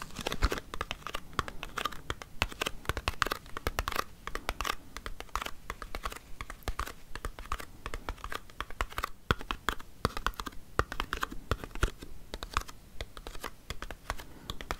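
Long nails rapidly tap a small, hollow, white printed paperboard cosmetics box for an Embryolisse Hydra-Masque, held in the hand. The result is a dense, continuous stream of quick, dry, clicky taps with a hollow, papery low thud and very short decay, mixed with light scratchy brushes.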